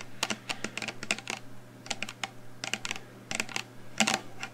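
A black plastic shower gel bottle with a pump cap, apparently full, is held in the hands and tapped quickly with long painted nails. The result is irregular bursts of sharp, bright clicking taps that die away almost instantly, over a faint steady low hum.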